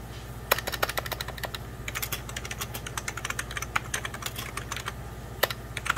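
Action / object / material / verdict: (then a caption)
tap / plastic computer keyboard / plastic / none. Fingertips of both hands type on a hollow, beige 1990s Packard Bell plastic computer keyboard. Quick, bright key taps run in an uneven stream, with a few louder clacks standing out. A steady low hum sits underneath throughout.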